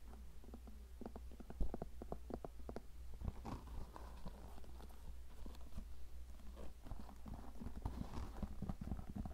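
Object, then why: Leather cowboy boot. A hollow, empty tan leather cowboy boot, held by the heel and shaft, is tapped and scratched with painted fingernails. It gives a quick run of soft, dull taps and scrapes with a short ring over a steady low hum.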